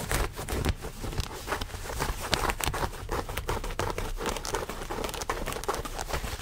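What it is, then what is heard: Denim jeans being scratched. Fingertips scratch and rub the thick fabric of blue denim jeans held close to the microphone. The result is a dense, continuous stream of rough, crackly scratching with quick bright rasps over a low, muffled rumble.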